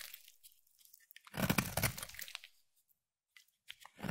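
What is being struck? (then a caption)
Bar of soap. A utility knife blade shaves fine strands off a solid yellow bar of soap. Soft, crisp scraping gives way to a louder, dense crunching burst in the middle, with low body and bright crackle. It then falls silent before a few short scrapes return at the end.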